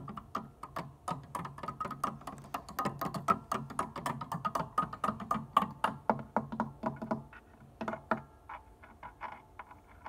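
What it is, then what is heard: Plastic organ keys tapped with fingernails. Long, dark-painted nails and fingertips tap rapidly and unevenly on the white and black plastic keys of a hollow, full-size upright organ keyboard in a wooden case, without playing any notes. The result is a steady stream of short, dry, hollow clicks and taps with very little ring, slowing into sparser taps toward the end.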